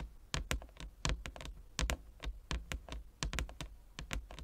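Fingertips and nails of both hands tap across a large, flat inlaid wooden chess board. The result is a quick, irregular run of short taps, each a dull low knock with a bright, clicky edge that dies away almost at once.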